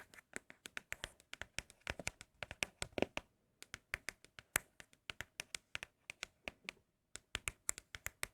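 Fingers tap rapidly on empty Apple product cardboard boxes, producing about 44 quick, dry, bright taps with almost no ring. The steady rhythm breaks briefly near 3.5 and 7 seconds. The boxes give an especially pleasing tapping sound.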